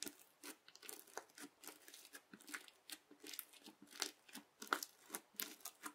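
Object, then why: Bead-filled slime pressed with a plastic knife edge. A fingertip repeatedly presses the edge of a yellow plastic knife into a flat teal bead slime. Each press gives a short, dry crunching crackle with a bright top and no low end. About two dozen quiet bursts come at an uneven pace.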